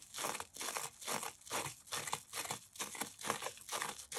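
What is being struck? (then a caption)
Cellulose sponge. A damp, yellow porous cellulose sponge coated with toothpaste foam is held in both hands above a yellow bowl while fingertips scratch and squeeze its surface. A steady, rhythmic run of bright, wet crackling and crinkling bursts rises and fades in quick succession. The sponge stays whole.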